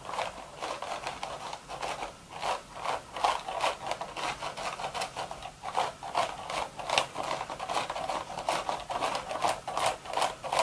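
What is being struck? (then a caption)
Woven straw hat. Long, sharp red nails scratch and scrape across the hollow, empty crown of a woven straw hat. The result is a dense run of dry, rasping strokes at an irregular, fairly quick pace, with a papery midrange rustle around 500 Hz to 1 kHz and bright, hissy edges on each stroke. There is almost no low end and each scrape dies away quickly.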